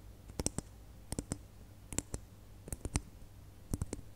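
Long nails tap and click on a single small, hollow red glitter plastic Christmas bauble held between the fingers. The clicks are sharp and bright, and they come in small clusters of two or three with quiet pauses between. About 13 quick, dry clicks are heard over a faint low hum.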